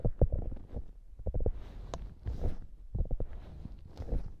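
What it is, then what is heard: Foam squishy hamburger toy. A soft, solid polyurethane foam hamburger squishy toy has its top scratched and pressed by long nails. The sound is a series of soft, low, muffled squishes and scratchy rubs, with brief gentle taps and faint bright hiss between them.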